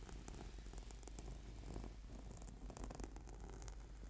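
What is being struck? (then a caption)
Foam yoga mat. Fingertips and nails scratch quickly across a flat, purple, sticky PVC foam yoga mat. A steady, quiet, dense rasping runs throughout, with a low rumble underneath and faint bright crackles on top.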